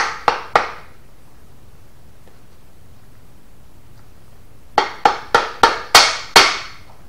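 A hammer taps a metal main bearing cap down into the block of a Mopar RB 413 engine. Eight sharp, bright metallic taps are heard: two close together, a pause, then six more in a quicker run, each with a short ring. The changed tapping sound indicates the cap is fully seated.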